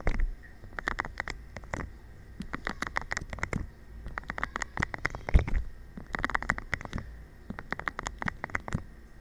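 A thin stick taps and rubs a green, hollow, air-filled rubber/PVC balance disc with nubs, making quick, dry, patter-like ticks in irregular bursts. Each tick has a low, soft thud beneath a bright click and dies out almost at once, over a faint steady hum.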